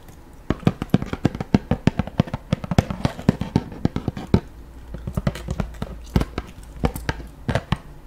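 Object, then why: Cardboard box. A hollow, medium-sized white Aveeno cardboard product box is held beside the microphone and tapped with long pink acrylic nails. Dozens of quick, dry, hollow clicks and knocks come in an uneven, fluttering rhythm, with a brief lull midway. Each tap has a soft, low-weighted thud and almost no ring.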